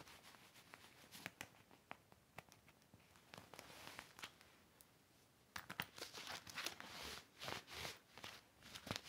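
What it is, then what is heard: Clear vinyl toiletry bag. An empty, large, flat, clear heavy vinyl (PVC) hanging toiletry organizer is wiped and rubbed with a cloth while fingertips press the plastic. Soft, bright crinkling and swishing are punctuated by many sharp plastic ticks and crackles. The sound grows louder and busier in the second half.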